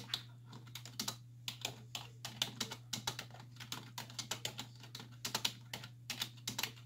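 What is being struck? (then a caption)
Plastic computer keyboard. Two hands with long white-tipped nails type continuously on a black plastic desktop keyboard with hollow key caps, resting on a wooden desk, as nails and fingertips tap the keys. The result is a quick, uneven run of bright, dry plastic clicks and clacks that stop almost instantly, over a faint steady low hum.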